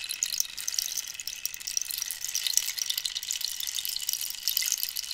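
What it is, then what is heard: Cactus wood rainstick. A hollow, dried-cactus wood rainstick filled with pebbles is scratched with nails, then tilted sideways so the filling trickles through it. The result is a steady, bright, rain-like hiss made of dense tiny clicks and patters, with almost no low end.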